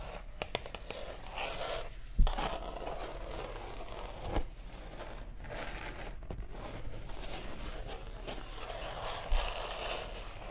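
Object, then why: Paper pages of a large book. Long acrylic nails slowly scratch and tap on the matte white paper pages of a large open art book with prints, held up. A steady soft papery scratching runs throughout, with a few sharper, louder taps standing out.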